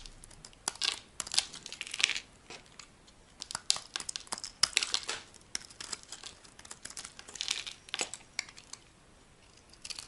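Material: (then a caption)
Soap. A solid, dry, oval green bar of soap held in the palm is scraped and carved with a metal utility blade, shaving off curls. Dense bursts of bright, dry scratching and crinkly cutting come in irregular clusters with almost no low end, each stroke ending abruptly with no ring, between brief quiet gaps.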